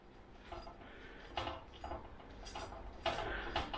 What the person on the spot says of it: Lovely crispy, lovely crunchy. You can hear how crispy they are.